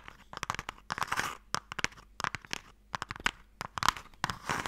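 Fingertips and nails tap and scratch on the side of a hollow wooden box printed with MIKADO. Quick, dry, crisp taps come in uneven clusters, mixed with rough, bright scratching bursts. The taps center around 1 kHz and die away almost instantly, with little low end.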